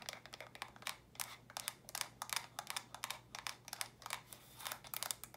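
Fingernails tap and scratch quickly across the studs and faces of small hollow plastic stacking brick storage boxes in purple, lilac and pink. The result is a rapid run of bright, dry clicks with very short ring, mixed with brief scratchy swipes over a faint low hum.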